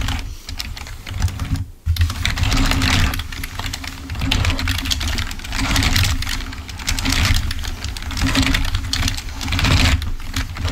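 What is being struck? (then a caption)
Plastic computer keyboard. A full-size, wired, black plastic Microsoft membrane keyboard lying on a white table is typed on rapidly with the fingertips of both hands. It gives a dense stream of soft, bright key clicks over a steady low hum, with a brief pause near the two-second mark.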